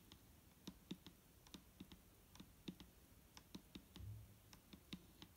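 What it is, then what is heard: Plastic bottle tapped with a fingernail. A single long nail taps slowly on the side of a large, clear plastic micellar water bottle that is full of liquid and lying on a table. The result is a soft, uneven series of quiet, dull taps, each a low thud with a bright clicky edge that dies away almost at once.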